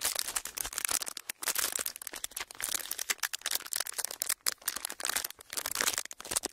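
A thin clear plastic sheet is pressed flat and rolled between palms and fingertips, producing a steady run of bright, dense crinkles and rubbing crackles. The sound is almost entirely high-pitched with no low end, and each crackle stops almost instantly.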